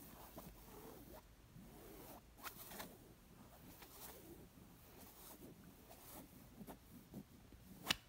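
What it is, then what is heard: Linen pillow. Fingertips and nails scratch and tap the plain coral woven-fabric side of a stuffed square linen cushion. Soft, bright, papery rasps come in short strokes, with scattered light taps and one sharper tap near the end.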